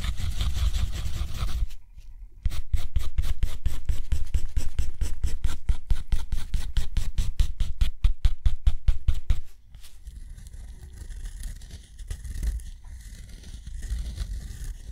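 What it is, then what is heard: Nib scratching on textured cotton paper. A steel dip pen nib scratches across thick, rough-surfaced textured cotton paper lying flat, drawing spirals, dashes and a wavy line. A continuous dry scratch gives way after a brief pause to a long run of quick, evenly spaced stroke scrapes with bright papery grit. It ends in softer, quieter scratching.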